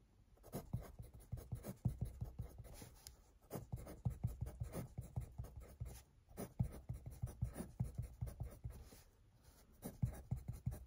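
A hand with light green painted nails writes with a yellow wooden graphite pencil on a lined paper notebook lying flat on a desk, a solid stack of sheets, the tip scratching across the page. Quiet, dry scratching strokes come in quick bursts, with brief pauses between phrases of writing.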